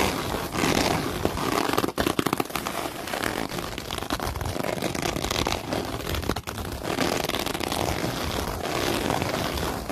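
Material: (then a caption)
Synthetic fabric. Long nails with light tips scratch and rub across black open-weave synthetic mesh fabric lying flat. The result is a dense, continuous, broadband scratchy crackle with a bright rasping texture. It holds a fairly steady level, with only brief dips near 2 and 6.5 seconds.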